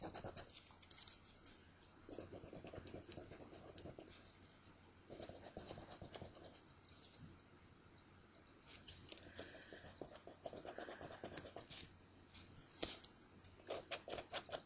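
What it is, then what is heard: Paper scratch-off ticket being scratched. A coin scratches rapidly across the coating of a thin, flat, solid paper scratch-off lottery ticket. The sound comes in quiet bursts of bright, high, gritty rasping separated by short pauses. Some strokes also carry a softer, lower scraping body.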